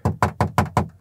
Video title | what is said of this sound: Essai Volkswagen ID Buzz : un combi électrique digne de ce nom ? | cette sorte de boiserie ça sonne creux également